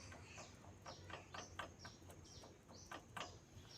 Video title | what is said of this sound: Analisa suara kasar pada motor bebek yamaha Vega R #vegarnew #yamaha #jupiter | Ini masih padat ya, berarti ini tidak bunyi.